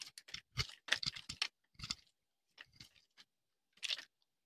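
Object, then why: Soap bar scraped with a metal knife. A solid, rounded, pale-yellow bar of dry soap is held in the hand and scraped with a metal knife blade, breaking off brittle flakes. The clip is a series of short, dry, crunchy scrapes with bright, crisp crackle and almost no ring, separated by brief silent pauses.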